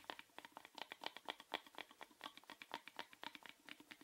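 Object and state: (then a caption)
Small plastic box tapped with fingernails. A small hollow orange plastic rectangular box, held in the hand, is tapped rapidly with fingernails in an uneven, typing-like pattern. About 28 quiet, crisp clicks sound, each dry and short with no ring, bright and lacking low end.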